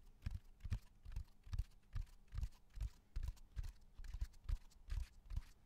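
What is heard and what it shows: A flat natural cork bark slab, about 30 cm long, solid with a rough textured surface, is tapped and drummed with fingertips and nails close to the microphone. The hits form a loosely regular run of dull, low thumps, each dying away almost at once.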